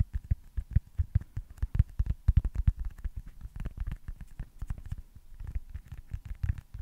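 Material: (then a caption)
Foam. A small, solid baseball-style foam stress ball with printed red stitching is held close to the mic and tapped and scratched with fingertips and short nails. The result is a dense, irregular run of soft, muffled low thuds that die away almost instantly, with faint brighter scratchy edges in between.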